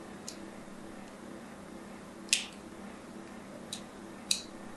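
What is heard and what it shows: A thin needle scratches a solid white bar of soap with an embossed logo in short strokes. Four brief, bright scraping ticks sound at uneven intervals, two of them louder than the others. Each dies away almost at once over a quiet, steady low hum.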